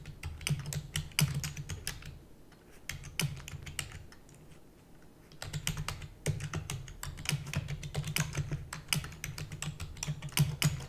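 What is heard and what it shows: A full-size black plastic computer keyboard with hollow keys is typed rapidly with the long nails and fingertips of both hands. Quick, irregular bursts of sharp, bright clicking and tapping rise over a steady low hum. The typing thins out to a few scattered taps in the middle before resuming at full pace.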